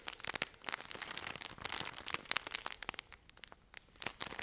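Long nails scratch and squeeze a full, cylindrical pack of cotton pads wrapped in crinkly plastic film, held close to the mic. Dense, bright crinkles and sharp ticks crowd together with almost no low end, briefly thinning before a few last crackles.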